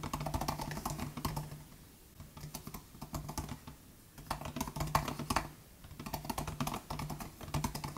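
Steady fingertip typing on the low-travel plastic butterfly keys of a 2018 MacBook Air laptop keyboard. Quick, soft clacks come in runs with brief lulls around the two-, four- and six-second marks. Each keystroke has a short, dull thud and a crisp midrange tick.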